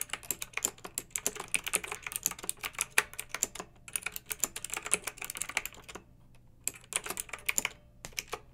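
Fast two-handed typing on a pink backlit mechanical keyboard with round, typewriter-style plastic keycaps, struck with fingertips and long painted nails. The result is a dense stream of bright, crisp plastic clicks and clacks that stop dead, with brief pauses near the six-second mark and again toward the end.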